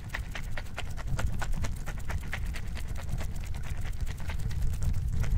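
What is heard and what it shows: An orange plastic pill bottle with a blue label and white cap, partly filled with orbeez gel beads, is tilted and shaken in the hand. It gives a steady run of quick, soft rattling clicks over a constant low rumble.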